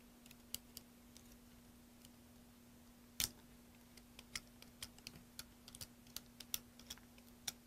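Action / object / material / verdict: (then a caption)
scrape / bar of soap cut with a small metal blade / soap / none. A large solid green soap bar held in the hand is carved and shaved with a small metal carving blade over a pile of soap shavings. About twenty short, bright, crisp scraping clicks come at irregular intervals, with one louder cut near the middle, all over a faint steady low hum.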